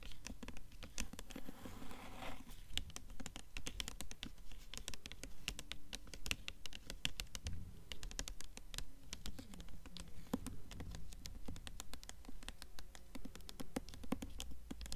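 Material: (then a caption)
Paper. Long nails tap quickly and continuously on the paper dust jacket of a blue hardcover book held upright, making a dense stream of sharp, dry clicks with bright edges. Brief scratching sounds mix in over a soft, low background rumble.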